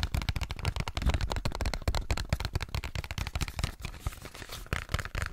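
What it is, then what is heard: Cardboard box. Fingertips and nails tap and scratch a small pink cardboard box held close in front of a microphone. A rapid, irregular stream of dull, low, thumpy taps mixes with dry, bright scratching, each tap dying away almost instantly. The scratching grows more prominent toward the end.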